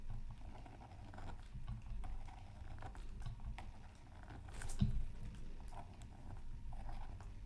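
A thin bamboo stick steadily scratches feathery lines into a flat, thin, solid black-coated scratch art card from a Mythical Creatures Super Scratch Art Pad resting on a mat. The sound is a quiet, continuous, dry scratching patter with many short, soft strokes, heavy in the low end, with a slightly louder, brighter stroke just before the five-second mark.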